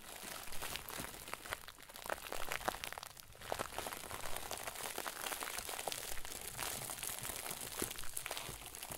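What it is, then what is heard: Plastic bag crinkle ball being squeezed. A round white plastic bag stuffed into a crinkle ball is squeezed and crumpled by the fingers and thumbs of both hands. A steady, dense crinkling fills the clip, with quick bright crackles and snaps scattered irregularly throughout and no ringing after each one.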